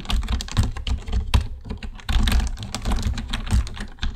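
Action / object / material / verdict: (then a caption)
tap / plastic computer keyboard / plastic / none. Both hands type with their fingertips on a black plastic computer keyboard, producing a rapid, uneven stream of short key taps. The taps have a deep, thumpy body and only a little high click, and each dies away almost at once, with louder strokes standing out at irregular moments.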